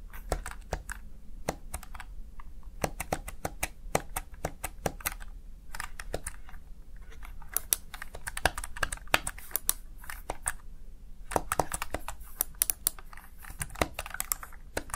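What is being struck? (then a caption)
Plastic gaming keypad keys. A Razer Tartarus Chroma, a small backlit plastic gaming keypad, has its keys typed rapidly by fingertips. Dense, sharp plastic key clicks and clacks come in quick bursts with short pauses over a low steady hum, each click dying away almost instantly.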